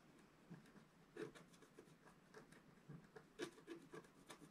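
A wooden stylus rubs and scratches the top right corner of a flat, black-coated scratch art paper sheet lying on a table. It makes quiet, irregular scraping strokes with soft gritty rasps and brief brighter scratches. Each stroke has a low-mid tone around 360 Hz and fades almost at once.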